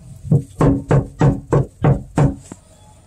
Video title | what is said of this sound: Boom Mat One Year Review On Jeep Floor | it sounds dead so it's got that dead knock sound